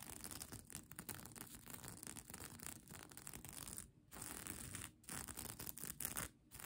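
Long nails scratch across a bunched-up plastic sequin mermaid-tail blanket, making a dense, bright, crackly rustle of scraping sequins. The scratching runs almost continuously, with brief pauses near 4, 5 and 6.5 seconds.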